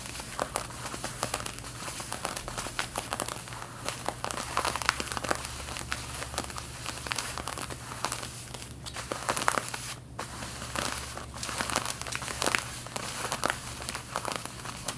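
Long painted fingernails scratch across the back pockets and seams of worn, light-blue stretched denim jeans. The result is a dense, continuous run of dry, bright, crinkly rasps and quick scratches, with a steady low hum underneath.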